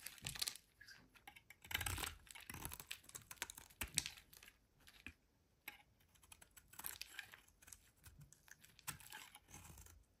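A solid brown rectangular laundry soap bar, held in the hand, is carved and shaved with a metal utility knife blade, with curls of soap falling off. Quiet, dry, bright scraping and crackling comes in irregular bursts of quick clicks and longer rasping strokes, separated by short pauses.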